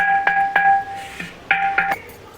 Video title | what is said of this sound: अचूक माठ कसा निवडावा यासाठी खास टिप्स - 💯% पाणी थंड होणारच - Clay Pot Matka - Useful Tips | आपण माठ विकत आणलेला आहे तो असा छान वाजून बघायचा आहे